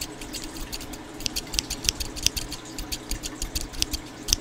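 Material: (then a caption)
Steel. A small pair of scissors with steel blades and dark plastic handles, held in the fingertips close to the microphone, has its blades opened and closed repeatedly. Quick, dry snips with metal-on-metal scraping come in a steady run, each a short, bright tick over a faint low hum, with a few sharper, high-pitched clicks standing out.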